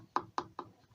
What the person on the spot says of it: it sounds hollow just there so i'm gonna go in a bit deeper just to see what's in there